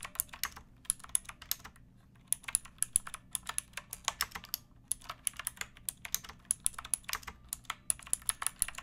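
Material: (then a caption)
Plastic. Fingertips with long nails type on a pink backlit mechanical keyboard with plastic keycaps resting on a wooden block. Quick, bright, dry clicks come in an irregular stream with a short pause near the two-second mark, over a faint steady low hum.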